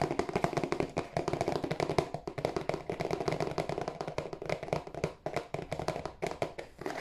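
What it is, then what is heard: Cardboard tissue box. A hollow, glossy marble-printed cardboard tissue box is tapped with fingertips, first on its end and then on its broad face while held in both hands. Rapid, dense streams of short, dry taps give a hollow, boxy knock centered in the low mids around 400 Hz, with each tap dying away almost instantly.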